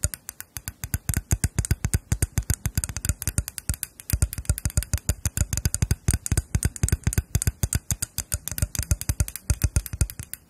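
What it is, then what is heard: Lacquered wooden spoons tapped with fingernails. A pair of small, solid, hand-painted lacquered wooden spoons with red, gold and black designs is held close in front of microphones while long nails tap and scratch their bowls. The result is a rapid, uneven stream of short, dry taps with a deep low thump, mixed with light scratching.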